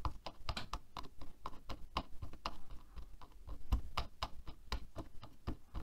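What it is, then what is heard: Plastic hairbrush bristles. Nails and fingertips rapidly flick and tap the bristles of a black plastic hairbrush lying on a table. The result is a quick, irregular run of around twenty short, dry ticks and taps with low thumpy bodies and crisp clicks that die away almost instantly.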